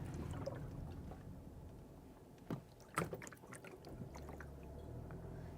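Water sloshes inside a partly filled Front Runner 10.6-gallon plastic footwell water tank, which sits behind the front seats of a vehicle driving around a parking lot and over speed bumps. A low, irregular churning and splashing runs under steady background rumble, with a couple of sharper sloshes near the middle. The tank is hollow with no baffles, so the water moves freely; keeping it full would avoid the noise.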